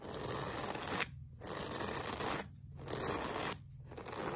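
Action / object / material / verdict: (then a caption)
scrape / looped-pile fabric rug brushed with a plastic-bristle brush / fabric / none. A pink plastic-bristle brush is scraped across a flat, solid beige looped-pile woven fabric rug in long strokes. Each stroke makes a dry, bright, broadband scratching hiss, with short quiet gaps between strokes and a brief sharp tick at the start of the first pause.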